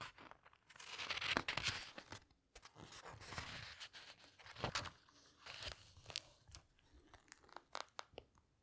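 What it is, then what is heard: Paper hardcover book. Long nails and fingertips handle a large teal paper hardcover book, flipping its pages, closing it with a hand resting on the cover, then opening it again. Bright, crinkly rustles and crunchy page sweeps come in waves, broken by sharp little taps and clicks from the nails on the cover and paper. The sound stays quiet and close, fading to soft scattered clicks toward the end.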